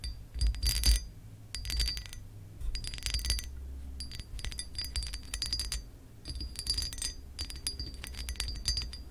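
Long acrylic nails scratch and tap the embossed pattern of a hollow pressed glass lamp base. Bursts of bright, dry clicking and scratching come in clusters, with quick taps that ring only briefly. A low rumble sits steadily underneath.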